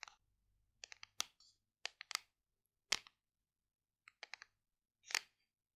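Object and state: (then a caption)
Hollow plastic supplement tub. Long decorated nails tap and scratch a large, hollow white plastic supplement tub with a paper label, held in both hands. Thirteen quiet, sharp, bright clicks come in irregular clusters, each dry with almost no ring and separated by silence.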